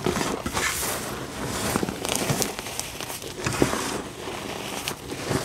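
Fingertips dig into fine pink dyed gym chalk powder in a tray and rake through it, rubbing and scratching. The result is a steady, soft, crumbly crinkling and crackling texture with bright hiss across the highs and brief sharper scratches rising out of it.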